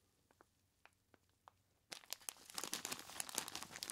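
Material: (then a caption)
Plastic, ice. Gloved hands squeeze and rub a large clear plastic bag of ice cubes tied at the top. A few faint clicks come first, then loud, bright, dense crinkling of plastic and crunching ice fill the rest of the clip.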